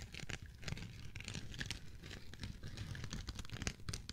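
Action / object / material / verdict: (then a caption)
scrape / foam kitchen sponge / foam / none. A yellow and cream foam kitchen sponge, held in the hand, is squeezed and scratched with fingertips and nails. This produces a steady stream of soft, crinkly scratching and rubbing sounds with bright, hissy edges over a low rumble.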